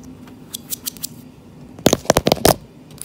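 Long-nailed fingertips tap and scratch a solid, dark-stained wooden plank floor near the plank seams. A few soft, scattered taps and scratches are followed by a quicker burst of louder, sharp clicky taps, each dying away almost instantly.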